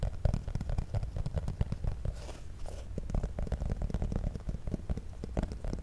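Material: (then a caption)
Cardboard. A small, hollow black printed cardboard cable box is held directly over the mic and tapped and scratched with fingernails. The result is a rapid stream of close, dry, muffled taps with boomy low-end weight and quick crackly scratches. A soft crinkly rustle is heard in the middle of the clip.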